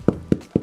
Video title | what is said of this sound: Sourdough Bread - You will be hooked. You will get fat. | hit it a few times on the bottom if it sounds hollow it should be fine